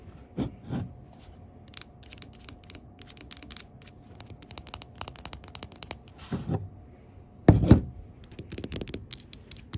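Long pink acrylic nails tap and scratch a large 20 oz Mainstays Hazelnut Cream glass jar candle with a paper label, filled with wax, while a hand turns the jar. Quick, light clicking taps and dry scratchy rubbing run throughout over a faint steady hum. A few duller, louder knocks and handling bumps stand out, strongest near the end.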